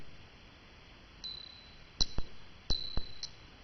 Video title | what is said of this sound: How to identify solid silver items and make some extra cash | this is a fake silver dollar that's a really low note